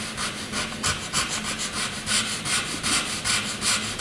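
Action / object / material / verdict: scrape / graphite pencil on a paper sheet / paper / none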